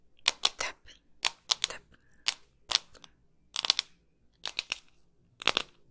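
Long pink nails tap a hand-sized hollow hard plastic ball container, printed white with black patches like a soccer ball, held close to the mic. About fifteen sharp, dry clicks come in quick clusters, bright and brittle with almost no low end and no ring, separated by near-silent pauses.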